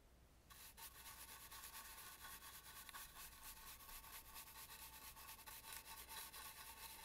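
A bristle brush rubs into the carvings of an antique red and gold carved, painted wooden mask. After a brief quiet start, a steady, bright, scratchy brushing hiss runs throughout, swelling and fading with each stroke.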